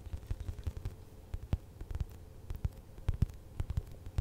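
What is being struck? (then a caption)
Soft polyurethane foam squishy toy. Long acrylic nails tap and scratch a large purple glossy narwhal squishy made of soft polyurethane foam, with a solid foam body and a gold horn, held beside the microphone. About twenty short, dull, muffled taps sit almost entirely in the low bass over a faint rumbling hum and light crackle. Each tap dies out at once, with no ring.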